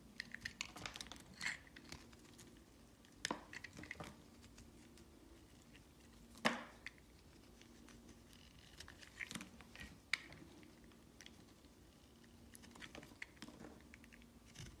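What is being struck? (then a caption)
Hard soap bar shaved with a metal knife. A metal utility knife scrapes and shaves the surface of a solid, palm-sized green hard soap bar held in hand, leaving a textured cut face. Quiet, bright crinkling scrapes run throughout, broken by a few sharper crisp cracks as the blade bites in. A faint steady low hum sits underneath.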